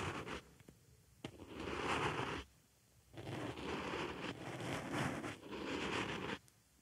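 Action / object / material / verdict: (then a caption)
scrape / foam makeup sponge / foam / none. A wooden stick scratches the surface of a small white foam makeup sponge resting on a microphone ear. Long, dense scratching passes with a bright, hissy texture alternate with quiet pauses, opening with a few sharp ticks.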